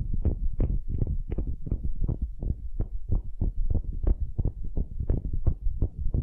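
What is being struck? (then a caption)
Solid wooden cube, end grain. Long nails scratch the end grain face of a solid, light wooden cube in quick repeated strokes. Each stroke makes a soft, rasping scrape heavy in low, muffled tones, running together into a steady rhythmic rustle with no ringing after each stroke.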